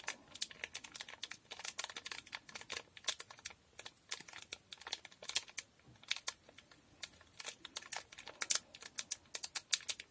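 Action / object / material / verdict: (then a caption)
tap / small sealed foil packet / foil / none. A small sealed blue foil Durex condom wrapper is tapped and scratched with long nails and crinkled between fingers. The result is a quiet, dense run of short, bright clicks and crinkles with almost no low end and very little ring.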